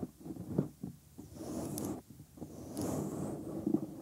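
Thumbs rub the inner part of the white silicone ear molds on a 3Dio binaural microphone, then fingertips stroke and tap the surface. The result is close, muffled rubbing and scraping with soft low thumps and brief bright hiss at the strokes.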